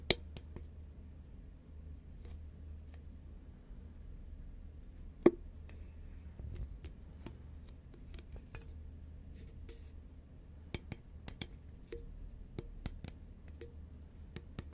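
Fingernails tap the side of a hollow, tall cylindrical cardboard Pringles can made of composite paperboard, which is held in the hand and turned from upright to horizontal. The taps are quiet, sharp, bright clicks with almost no ring, scattered at uneven intervals over a low steady hum, with one noticeably louder tap partway through.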